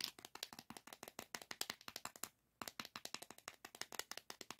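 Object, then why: Small plastic diamond painting tray. A small, shallow, hollow green plastic diamond painting tray with a ridged bottom, empty or nearly empty, is held in one palm above a diamond painting canvas and handled and rubbed with the fingertips. About 37 quick, bright, dry plastic clicks and taps follow in a steady rhythm, each dying away almost at once. There is a brief pause near the middle before the tapping resumes.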